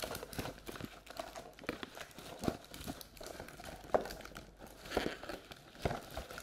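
A hollow, empty round paperboard Halloween treat bucket with a pumpkin print is held up and tilted in both hands while long red and black nails tap and scratch its walls and rim. Many quick, dry taps and crinkly scratches come in a steady stream, with a few sharper clicks standing out. The sound is mostly mid-range, with a papery, hollow tone.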